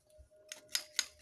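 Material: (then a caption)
Coconut shell. Three light taps on the empty, hollow shell of a coconut bonsai, loose from the coconut, each giving a crisp, clear, bright click that dies away almost at once, with a faint steady tone underneath. The clear sound shows the shell is empty, its nutrients used up, so it came loose normally.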